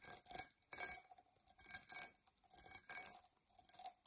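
A dark purple, embossed tinted glass tumbler, hollow and empty and held tilted, is scratched on its outside and base with long nails. The sound is a quiet run of bright, dry scratching strokes in uneven bursts, with a faint glassy tone underneath and almost no low end.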